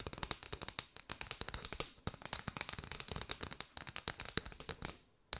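Long white nails tap rapidly on an arched bundle of striped paper straws. The result is a dense, uneven run of dozens of dry, bright clicks with almost no ring and little low end, ending in a brief soft hiss.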